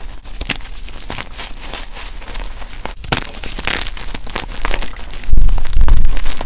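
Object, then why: Gym chalk blocks (magnesium carbonate). Palms and fingers scoop and squeeze powdery chunks from a lavender-white pile of gym chalk blocks (magnesium carbonate). A dense run of gritty crunching and crinkly crackles builds steadily, turning louder and heavier near the end with deep, muffled crushing thumps.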